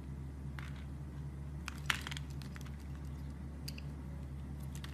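A utility blade shaves slices off the same solid brown soap bar, making soft, crisp scraping and crackling cuts with bright edges. A brief sharper snap stands out near the middle, all over a steady low hum.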